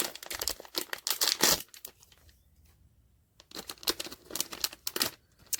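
A sealed cardboard POP MART Skullpanda "The Sound" blind box holding a vinyl figure is shaken, giving bright, crinkly rattling bursts. The rattling goes quiet for about a second midway, then picks up again. When opened, the box holds The Pensiveness figure.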